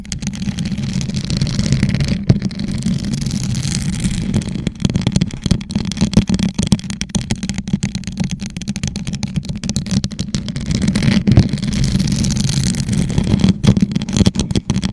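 A hollow gold rhinestone-covered plastic tumbler, turned upside down over a microphone, is tapped and scratched with long nails. A steady, boomy low hum centered near 125 Hz is broken by rapid, dry clicks and brief scraping crackles. Loudness swells slightly at moments, with a few sharper taps standing out throughout the continuous texture.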